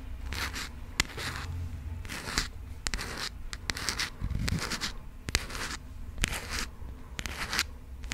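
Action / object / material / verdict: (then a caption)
scrape / passport booklet with coated cover / coated card / none. Long pink acrylic nails scratch and tap the coated cover of a burgundy passport booklet held in the hands. Bursts of bright, dry scraping alternate with several sharp, short clicks that die away almost instantly, over a low, steady rumble.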